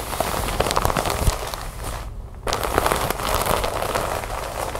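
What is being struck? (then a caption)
Plastic bag filled with cotton balls. A large, sealed, clear plastic bag full of white cotton balls lies flat on a wooden table and is scratched and tapped with long white nails and fingertips. It gives a steady, dense crinkling of plastic with sharp little clicks and taps, mostly in the mids with some bright crackle. There is a brief quieter pause just after the two-second mark before the crinkling picks back up.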